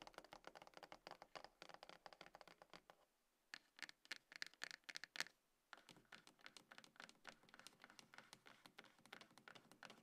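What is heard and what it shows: Long acrylic nails on both hands tap and scratch a small, hollow, closed dark grey cardboard iPhone box resting on a table, likely with the phone inside. The result is a quiet, dense patter of quick, dry, bright clicks and scrapes with almost no low end, centered around 1.75 kHz. The clicks pause briefly near 3 seconds and again near 5.5 seconds, with a cluster of slightly louder taps in between.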